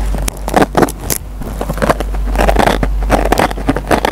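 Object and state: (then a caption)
Dry nylon scouring pad on a sponge. A metal pen tip picks and scratches at the fibers of a dry, rectangular yellow foam kitchen sponge with a green nylon scouring pad. It makes a dense run of short, crackling scrapes and rasps over a steady low hum.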